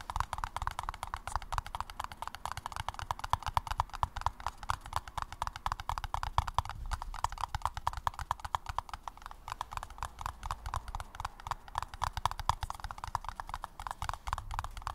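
A paper cup is tapped rapidly and continuously, giving a dense stream of short, dry taps. The taps have a hollow, papery tone centered near 950 Hz over a soft low thump, with almost no ring after each hit.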